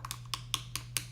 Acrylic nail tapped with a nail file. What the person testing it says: you want to tap the nail and if you hear that no it's like a like a tapping noise and you know that is your dry